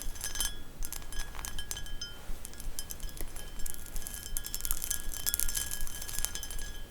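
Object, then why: Textured glass bowl. Quick, uneven fingertip taps bring bright glassy clinks with a brief high ring, over a low handling rumble.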